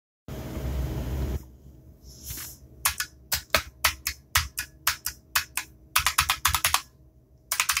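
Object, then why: Plastic mechanical keyboard keys. Fingertips rapidly type on a compact 60% mechanical computer keyboard with black plastic keycaps, clicky switches and RGB backlighting, resting on a desk mat. After about a second of broad noisy rush and a brief lull, sharp, bright clicks follow in quick succession, each snapping off almost instantly. A short pause comes before a final cluster of keystrokes.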